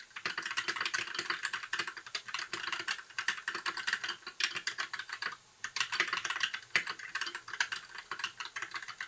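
Fingertips of both hands type continuously on a compact white mechanical keyboard with backlit plastic keycaps. Dense, fast clicky keystrokes with bright, short plastic clacks and a brief pause near the middle.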